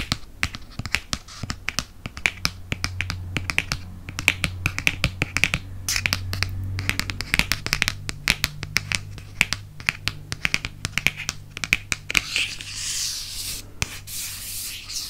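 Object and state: Hardcover book.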